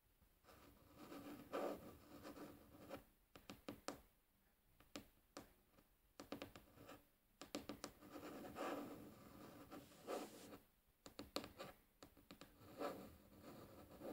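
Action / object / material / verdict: scrape / wooden tabletop scratched and tapped with fingernails / wood / none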